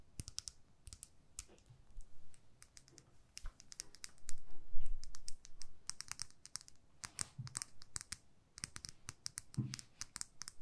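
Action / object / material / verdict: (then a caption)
tap / small plastic lip gloss tube / plastic / none. Long nails tap and click on a small clear plastic lip gloss tube filled with pink gloss, making quiet, irregular, sharp clicks with bright high edges and a soft low rumble underneath. A louder rubbing swell rises around the middle before the scattered clicking picks up again.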